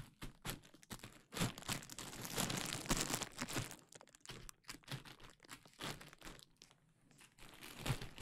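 A large sheet of clear plastic bubble wrap, draped over the microphone, is squeezed and popped by hands. Steady crinkling and rustling runs through the clip, broken by irregular, sharp, bright pops and crackles.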